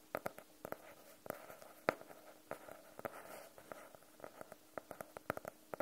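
A small, closed hardcover notebook with a navy blue faux-leather cover and a solid block of paper inside, held in both hands, is tapped and scratched on its cover with medium-length nails and fingertips. Quiet, dry, irregular taps click sharply and stop at once, with soft scratching between them. The taps have a hollow mid-range tone.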